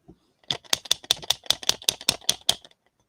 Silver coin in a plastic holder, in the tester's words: This thing's a Rattler. You can shake it and get it to wherever you want it to be.